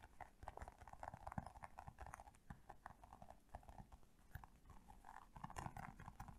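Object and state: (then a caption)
Hollow hard plastic toy figure. A small, colorful, hand-sized hollow hard-plastic toy figure with bunny ears is tapped rapidly with long painted nails. The result is a dense, uneven stream of quick, dry clicks with a hollow mid-range knock and soft low thumps, each tap dying away almost instantly.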